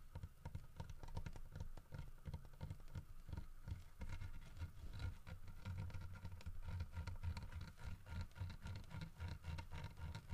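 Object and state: Carved wooden bear statue.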